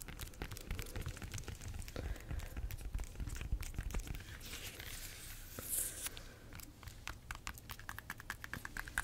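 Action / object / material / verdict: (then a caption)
scrape / banana peel / fruit peel / none. Long nails scratch and tap on the peel of a bunch of ripe bananas, with the peel still on. The result is a steady stream of quick, irregular dry taps and rustling scratches, with short sharp clicks and a brighter scraping swell near the middle.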